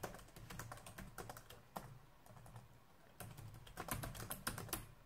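Fingertips type on the keys of a black plastic laptop keyboard, producing a quick, uneven run of light, bright clicks over a steady low hum. The typing slows to a near pause in the middle, then resumes in denser bursts toward the end.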